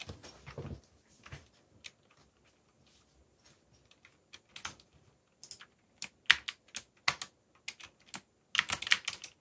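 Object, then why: Mechanical keyboard with plastic keycaps. Fingertips type on a backlit mechanical keyboard with black plastic keycaps and a yellow backlight. Short, dry, bright clicks come in irregular bursts, soft and sparse at first, then louder and quicker toward the end, with quiet gaps between keystrokes.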